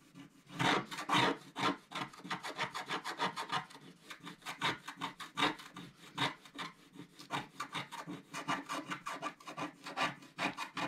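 A wooden stylus scrapes the remaining black strip on the left side of a flat, black-coated scratch-art paper sheet held by the left hand. Dozens of quick, dry, raspy strokes follow one another in a steady rhythm, each a short bright scratch with no ring. The first strokes are the loudest.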